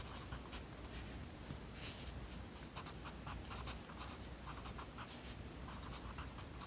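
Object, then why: Wooden pencil on paper notebook page. A yellow wooden pencil writes by hand on an open lined paper notebook resting on a desk, its tip scratching across the page. Short bright scratchy strokes repeat over a steady low hum.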